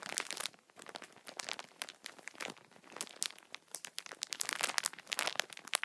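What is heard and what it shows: Fingertips tap and scratch the top film of a plastic-wrapped tissue multipack, crinkling the wrap. Dense, bright crackles and sharp ticks come in uneven bursts with a brief lull near the start, with no low end and almost no ring after each snap.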